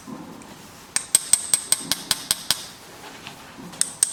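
Metal tweezers, it appears, tap the alloy case of an APACHE outdoor watch, which lies on its side and has an engraved barleycorn pattern. Eleven short, bright metallic ticks are heard: nine in a quick, fairly even run, then two more after a pause. Each tick is a thin, high ring that dies away almost instantly.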